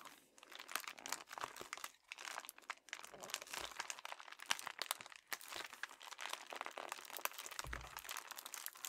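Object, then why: Metallic foil padded bubble mailer. Two hands with short, dark-painted nails squeeze and crinkle a medium, envelope-sized red metallic foil padded bubble mailer that carries a paper shipping label and seems filled, rubbing its plastic film. The result is a steady stream of bright, dry crinkling and crackling, with many quick, sharp snaps that stop almost at once and very little low end.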